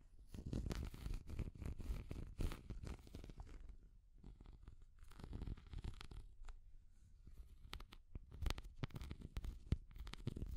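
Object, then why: Small hard plastic cat figure. A small translucent orange hard plastic cat figure is tapped and scratched with long nails, giving dense, quick clicky taps and rough scraping rasps. The sound is low and quiet, with short hits that die off almost instantly and brief bright streaks from individual taps.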